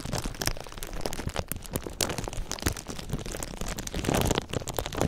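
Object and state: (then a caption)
Thin plastic film being crinkled. A thin, clear plastic sheet stretched over a microphone is scrunched and rubbed by fingers, giving a dense, continuous stream of sharp crinkles and crackles. Bright snaps stand out over a heavy, low rumbling handling noise, with a louder crumpling swell near the end.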